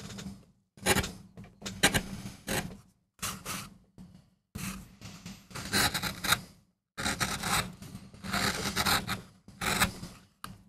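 A steel gouge in a wooden handle makes short scraping cuts into a small, flat, solid MDF relief printing block held down by hand. The cuts come as bright, raspy bursts of scraping separated by brief silent pauses, over a faint low hum.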